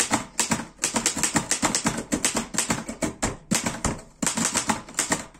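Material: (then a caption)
Metal. Fast fingertip typing on a black metal Erika 5 portable typewriter produces a rapid run of about 27 sharp, bright mechanical clacks. Each keystroke snaps off quickly with a short metallic ring, and brief pauses break up the bursts of keys.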